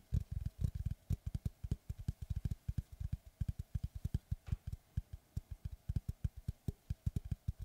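Rapid fingertip and nail tapping with both hands on the flat face of a large, flat oval slice of solid tree trunk with a bark edge, held upright. Dense, uneven streams of short, dull, low thuds with faint bright clicks follow each other quickly and die away almost instantly over a quiet background.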